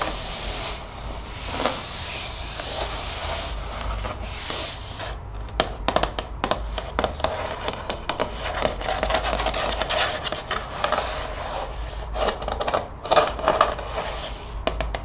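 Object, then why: Plastic spray bottle. Long painted fingernails scratch and tap along the body of a large translucent plastic spray bottle with a white trigger head, hollow and partly filled with liquid, held in both hands. A steady, bright scratchy rubbing gives way after about five seconds to quick, sharp plastic taps with a short hollow ring near 1.2 kHz, mixed with continued scratching to the end.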